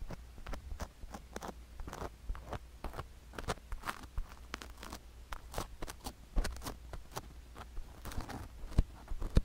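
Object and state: Sugar-coated silicone ear microphone being scraped.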